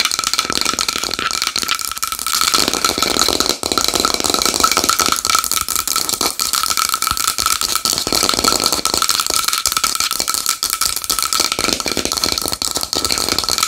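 Long nails tap fast and continuously on a small wooden bowl, making a dense, bright clicking rattle. A steady tone rings near 1.3 kHz under the clicks, with almost no low end, and each tap decays almost instantly.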